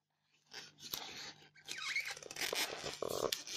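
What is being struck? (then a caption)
Polystyrene foam block. Long fingernails scratch and pick at the surface of a solid white polystyrene foam block, loosening bits of foam. Bright, dry crunching and scraping bursts come in uneven strokes, with a few squeaky squeals and a buzzy screech near the end.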